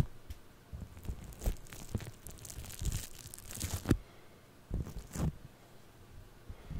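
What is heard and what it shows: Purple foam-bead floam clay is pressed on a microphone and scratched with fingernails and a thin tool. Close, crackly crunching and crinkling come in short irregular bursts, with deep muffled thumps and faint bright bead clicks between quieter stretches.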